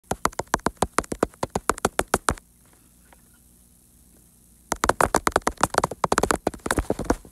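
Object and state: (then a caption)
Toy jacks. Toy jacks, the small game pieces, are tapped in quick, steady succession, giving short, sharp, dry clicks with almost no ring. After about two seconds of near silence, the tapping resumes faster and denser until the end.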